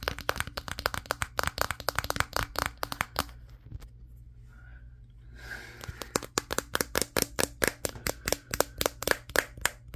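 Fingertips tap rapidly on the matte glass back of a Samsung Galaxy S23, near the camera module, while it is held in one hand and recording. The taps are sharp, dry clicks that stop dead, with a bright crack. They briefly give way to a soft rustle in the middle before resuming over a faint low steady hum.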